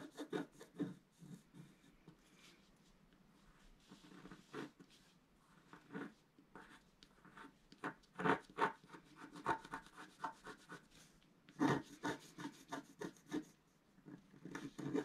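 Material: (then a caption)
Coated paper. A wooden stylus scrapes the black coating off a flat scratch-art card in rubbing strokes across a planet drawing. Soft, dry scratching and rasping comes in short bursts and quick strokes, with a few louder scrapes in between. The strokes are close and quiet, with a low-mid body and a light, bright hiss.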